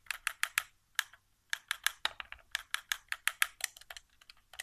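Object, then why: Plastic game controller. Fingertips tap the buttons and thumbstick of a white, hollow plastic PS4 controller resting on carpet. About 23 quick, dry plastic clicks come in uneven bursts, bright and midrange-heavy with almost no low end. Each one dies away almost instantly.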